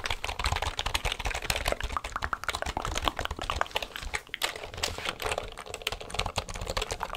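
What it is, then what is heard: Plastic computer keyboard. A full-size black plastic computer keyboard is held at an angle close to the mic while fingers rapidly press and tap its keys. A dense, continuous stream of short, dry clicks and clacks follows, bright on top with a soft low thump beneath each keystroke.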